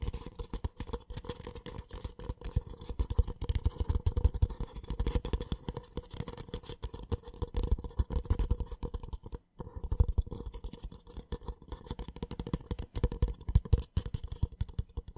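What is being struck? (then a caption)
Paper cup. An empty white cardboard paper cup, held on its side, is tapped and scratched with fingertips and nails. The result is a dense, steady run of soft, dull taps and faint scratches, mostly low and muffled, with a brief pause about two-thirds of the way through.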